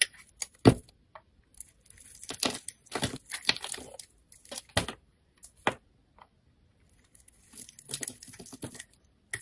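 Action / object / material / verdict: scrape / bar of soap / soap / none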